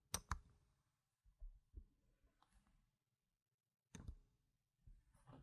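Fingers with painted nails place solid plastic game chips with red and black rims onto a stack resting on a fabric mat, so the chips click against each other. Two sharp, bright clicks open the clip, followed by softer, duller taps and quiet gaps, then another crisp click and some faint rustling near the end.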